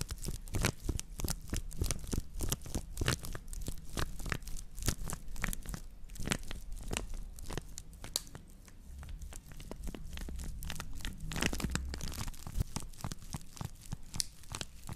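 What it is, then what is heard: Woven straw plate. A woven straw plate made of natural fiber is rotated while long nails scratch along its rim and base. It gives a dense run of dry, crackling scratches and crinkly, tearing-like bursts over a low, steady rumble, with each bright click dying away almost at once.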